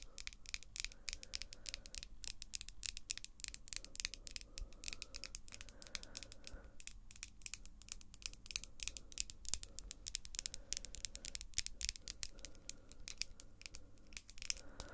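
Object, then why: Acrylic fingernails. Long, glossy pink acrylic nails, small and solid, are tapped together with the fingertips and nails of both hands. The result is a quiet, continuous stream of rapid, sharp, bright clicks with almost no ring, over a faint low background hum.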